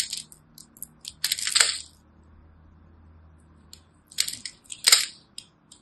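A small utility knife scores and cuts small cubes off a solid, rectangular, teal-and-white striped bar of soap held in the hands, and the cubes crumble off. Bright, dry crunching and scraping bursts come in two main clusters with a quiet pause between them. Each crisp cut dies away almost at once.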